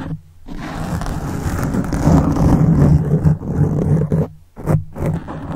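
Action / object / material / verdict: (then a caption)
scrape / foam microphone windscreen / foam / none. A black foam windscreen on a silver microphone is scratched with fingertips and tapped with the fingers of both hands. The result is a dense, low, rumbling scrape with muffled thumps. It drops to near silence in two short gaps.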